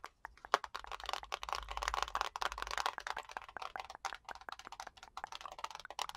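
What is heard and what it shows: A small black plastic TV remote with a hollow shell and rubber buttons is tapped and scratched along its body with long nails. Quick, dry clicks and taps are mixed with soft scratchy rustling, centered around 1 kHz with some bright edges. The many short hits do not ring on.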